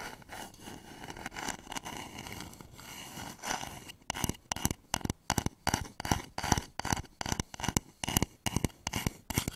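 A hollow, polished wooden bowl sits upside down over microphones while fingertips and nails work on its side. For the first four seconds there is a soft, continuous scratchy rubbing. Then come quick, irregular taps that are sharp and bright, each dying away almost at once with a light, dry knock.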